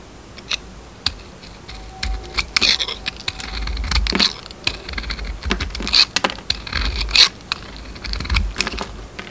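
A metal utility knife blade scrapes and carves the coated surface off a round, solid bar of soap with a purple glitter coating, held in the hand. Crisp, bright scraping clicks and short rasps come at an uneven pace over a faint low rumble, each dying away almost instantly.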